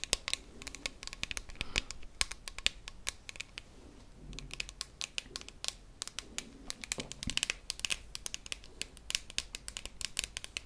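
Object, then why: Metal tin canister with plastic lid. A hand-held, hollow cylindrical silver metal tin with a red plastic lid is tapped and scratched with long manicured nails. Quick, bright clicks and scratchy taps come in dense, irregular bursts throughout, each dying out almost at once, over a faint low hum.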